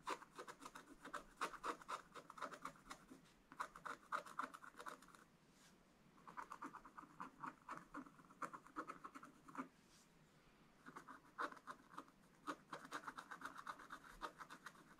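A wooden stylus scratches and rubs the wax coating of a scratch art page in a spiral book resting on a table. Quiet, rapid, raspy strokes come in irregular bursts, centred on a mid-range scraping tone with faint bright edges, and pause briefly around five and ten seconds before resuming.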